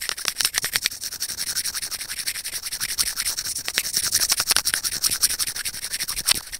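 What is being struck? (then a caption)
Plastic earphone inline remote microphone and steel tweezers. Curved steel tweezer tips rapidly scratch and tap the small, hollow white plastic inline remote microphone of a pair of wired earphones. The result is a dense, irregular stream of bright, dry clicks and scrapes, mostly high-pitched with almost no low end, and each tick dies away instantly.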